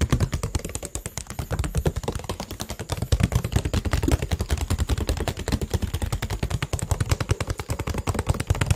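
A clear PET water bottle with a teal label, partly filled with water, is held in the hand and rapidly tapped with fingertips and nails. A quick, continuous run of short, dull taps with a low, hollow thump sounds steadily throughout, each tap dying away almost instantly.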